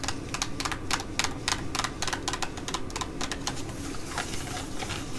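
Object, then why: Thin laminated plastic packet. A thin, flat black Galantry laminated plastic sheet mask packet is scratched and tapped with long nails, both while held and while lying flat. Rapid, sharp, crinkly clicks and scrapes come in quick bursts, each bright and short, over a steady low background hum.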